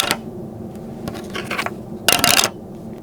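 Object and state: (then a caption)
Plastic-and-metal credit card that sounds like plastic when dropped. An AmEx Platinum credit card of plastic-and-metal build, heavy but not fully metal, is dropped and clatters with short, bright, high-pitched ticks and a brief rattling burst. Despite its weight it still sounds like plastic rather than a full-metal card.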